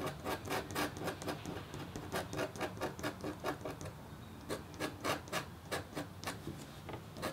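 The metal tip of a red stylus scratches across a flat, thin, solid black-coated copper-foil scratch art board about A4 in size. It makes around two dozen short, rasping scratch strokes in a steady rhythm, each with a bright, gritty edge and almost no ring after it.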